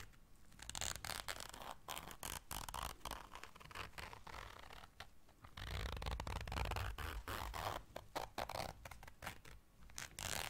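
A small round black fabric zipper case held in the hands is zipped and scratched with long dark nails. Rapid, irregular rasping zipper and scratching sounds come in quick bursts, with a low rumbling handling thud underneath, especially in the second half.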